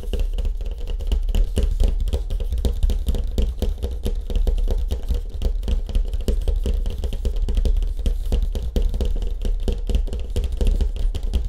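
Fingertips tap quickly on a surfboard with a wood grain finish. It makes a dense, steady stream of soft, dry knocks that are low and thumpy, with almost no ring after each tap.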